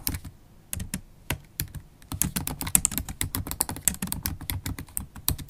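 Long acrylic stiletto nails type rapidly on a MacBook Pro keyboard with black plastic keys set in an aluminium body. The result is a quick, uneven stream of short, dry clicks: each has a bright, crisp tick from the nail tip over a soft low thud of the key bottoming out, and dies away almost instantly. The taps start sparse, then grow denser and steadier.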